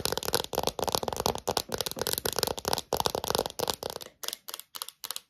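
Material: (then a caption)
Plastic. Long nails tap and click rapidly on a small, thin, hollow clear plastic phone case with a heart print. Dense flurries of short, bright, crackly clicks with a hollow plastic tone run almost continuously, then thin out into sparser, separated taps near the end.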